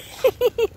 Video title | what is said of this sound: PINOY,IBANG KLASI MUTYA SA WAKAS NAGPAKITA DIN GRABE BEAUTIFUL PEOPLE HAPPY NEW YEAR | Iba ang tunog niya. Hindi siya bato eh.